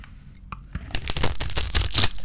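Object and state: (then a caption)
Dry bar soap being shaved. A small metal blade shaves a palm-sized solid oval bar of dry white soap coated in silver paint, held in one hand while the blade in the other scrapes off curls and flakes. After a near-quiet start, it turns into a dense, dry, crunchy scraping and crackling with a bright, high edge and a low thump beneath.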